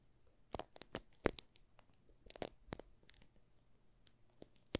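A solid green soap bar in its plastic film wrap is held in both hands while the thumbs rub and crinkle the film. Quiet, irregular crackles and sharp bright snaps of the thin plastic sound over a faint low hum, with brief louder pops between softer rustling.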